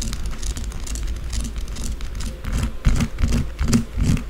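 Long blue acrylic nails scratch fast and hard at a small solid white bar of soap resting on a dark table, with soap shavings gathered around it. Quick, irregular strokes give a steady run of bright, dry scraping bursts over a low, muffled rumble, growing slightly louder toward the end.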